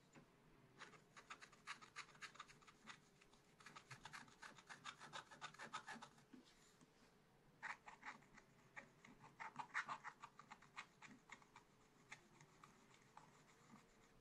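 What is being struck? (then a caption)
Coated scratch art paper and wooden stylus. A wooden stylus scratches away the black coating on a sheet of scratch art paper in a small spiral pad, working in small strokes. Quick, dry, rasping scratches come in rapid, uneven bursts with bright hiss, pausing briefly midway before resuming. A faint, steady low hum runs underneath throughout.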